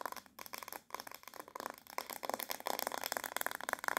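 Long nails tap and scratch the smooth back of a black, glossy, hard plastic paddle hairbrush with a hollow-backed head, held in the hand. The result is a fast, dense run of dry, bright clicks and scratchy rasps that ring around 1 kHz and die away at once, with no low end. The pace picks up toward the end.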